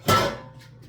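A single tap on the bottom of an oregano loaf fresh from 30 minutes in the oven gives a short, hollow knock with a faint ring that fades in about a fifth of a second. The hollow sound shows the loaf is baked through and done.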